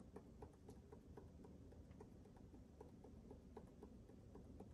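Fingertips scratch and tap the fuzzy surface of a yellow, felt-covered hollow rubber tennis ball held next to a microphone. The quiet, continuous, low-weighted rustling scratch is dotted with soft, dull taps that die away almost instantly.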